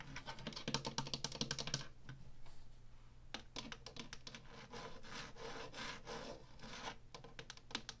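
Long natural nails and fingertips tap and scratch the woodgrain front panel of an Atari Flashback 2 console, with its hollow black plastic casing, then move to its ridged top. A fast run of crisp, bright clicking taps gives way to a softer, hissing scratch, broken by further bursts of sharp taps over a hollow, low plastic resonance.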